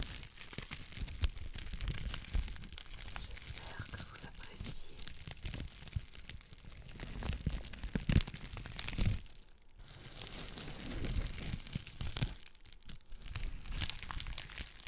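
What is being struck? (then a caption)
Plastic bubble wrap sheet. A clear plastic bubble wrap sheet, held in front of the mic, is scratched and crinkled with long black nails. The result is a dense, continuous crackle of rapid crinkling and scratching with a heavy low-end rumble, interrupted by brief quieter gaps around 10 and 13 seconds.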